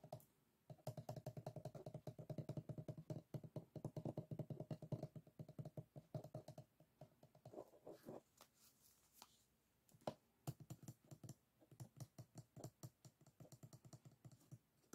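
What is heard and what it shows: Fingertips and nails rapidly tap and scratch along the edges of the stacked bamboo ribs of a closed, folded hand fan lying on a table. The result is dense, dry clicking and scraping with a warm, hollow low-mid tone, loudest in the first half. It thins into quieter, sparser taps near the middle, with one sharper click before the tapping picks up again.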